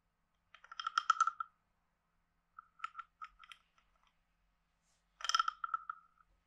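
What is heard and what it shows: A wooden stick is scraped along the ridged back of a hand-sized, hollow, carved wooden frog guiro. Three quick scraping runs produce rattling, ratchet-like croaks with a woody, hollow tone centered around 1.3 kHz and bright overtones. Brief silences separate each run.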